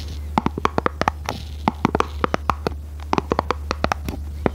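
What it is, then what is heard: Printed cardboard box. Long red nails tap and scratch the faces of a small red printed cardboard product box for Christmas lights, hollow and likely filled, held near the microphone without touching it. Around 25 short, dry, hollow taps ring out in uneven bursts, each dying away almost instantly, over a faint scratching and a steady low hum.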